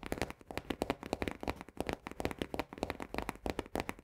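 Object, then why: Paperboard canister base. Long nails on both hands tap rapidly on the base rim of an upside-down Orzo Bimbo paperboard barley canister, about 28 quick taps in four seconds. Each tap is a short, dry click with a hollow, papery midrange body and almost no ring, forming a fast, uneven crackling patter.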